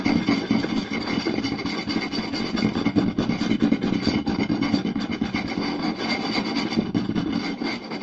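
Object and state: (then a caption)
Wooden plate tapped and scratched. Fingertips and short nails rapidly tap and scratch the surface of a round, solid wooden plate with a raised rim lying flat. The result is a dense, steady stream of quick wooden taps mixed with a continuous rasping, rubbing scratch, centered in a warm midrange with some bright edge.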